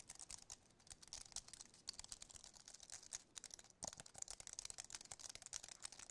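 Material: Aluminum, plastic.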